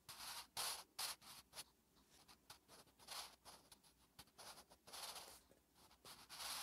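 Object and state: Pencil writing on paper.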